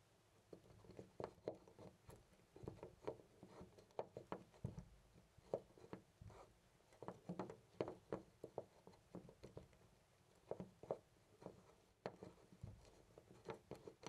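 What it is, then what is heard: Loose brass door knob. A hand grips a loose brass-colored metal knob on a white interior door and jiggles it in place. Quiet, irregular bursts of short metallic clicks and rattles come in quick clusters throughout, each dying away almost at once, with a mid-pitched tone and little high content.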